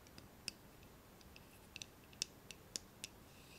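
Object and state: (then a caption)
Steel folding knife. Fingertips and nails tap and rub along the steel blade and bolster of an open pocket folding knife with a solid dark handle, held in both hands. Sharp, bright metallic clicks and ticks sound at irregular intervals, each dying away almost instantly over a quiet background hiss.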